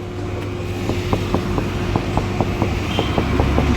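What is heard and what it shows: Knuckle knocks on the back side of a Mahindra Thar CRDe steel door panel, its inside fully covered with damping sheet, give a quick series of dull, deadened thuds over a steady low hum. The noise is greatly reduced compared with an undamped door, and the door is also heavier after the damping.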